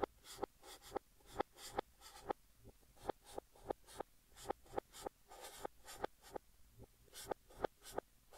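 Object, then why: Chalk stick on chalkboard. A blue chalk stick held in fingertips writes text across a large, flat green chalkboard, played in reverse. About eighteen quiet, scratchy strokes each swell up and cut off sharply, with a dry, bright rasp and no ring between them.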